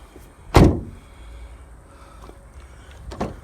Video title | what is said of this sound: A GREAT SCRAP DAY | it's like a tin filing cabinet